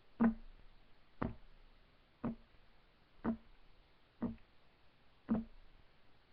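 Fingertips of both hands rapidly tap a solid, flat, light wood desk top, giving six short, dull knocks about one second apart. Each knock has a low woody tone near 220 Hz and dies away almost at once against a quiet background.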